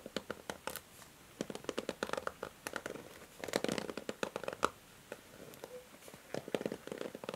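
Long nails strum and scratch the white plastic bristles of a pink plastic paddle hair brush. Quick, dry clicks and flicks come in uneven clusters, crisp and bright with almost no ring, and a faint rasp fills the gaps between them.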